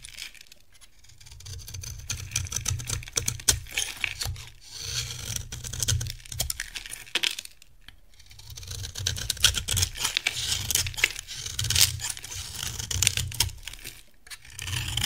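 A metal utility knife carves a hand-sized, solid, dry, cream-colored bar of soap, and crumbly chunks fall off. The cutting makes dense, crisp, bright crackling and scraping in bursts of a second or two, separated by short pauses, over a steady low hum.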